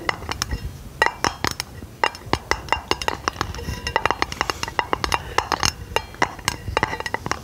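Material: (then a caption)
Aluminum. Long painted fingernails tap rapidly and irregularly on a hollow, round aluminum lid held over the microphone. Dozens of sharp, bright metallic clicks ring only briefly, with a tonal note around 880 Hz over a soft low rustle.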